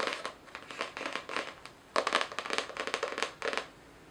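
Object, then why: Cardboard notebook cover. Long nails scratch and tap the floral cardboard cover of a spiral-bound notebook held upright. A quiet series of dry, papery taps and scratchy bursts follows, with bright crackly detail and no low thump.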